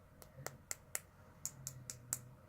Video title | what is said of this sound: Gemstones and their Magical Uses #5 | when you tap on it you can kind of hear that it's almost plastic